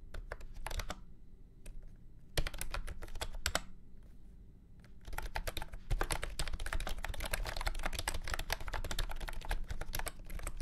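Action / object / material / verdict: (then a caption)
tap / plastic keyboard with round keycaps / plastic / none. A full-size beige and orange plastic keyboard with round keycaps and a hollow body, resting on a felt mat, is typed on with fingertips. Bursts of quick, clicky key presses come in uneven runs with short pauses, then settle into a steady stream of typing. Each press has a thin, hollow plastic tap over a low body resonance.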